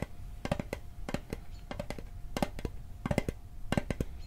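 A metal Altoids mint tin is tapped in quick clusters of short, dry clicks separated by brief pauses. Each tap is sharp with almost no ring, over a faint steady tone and a low background rumble.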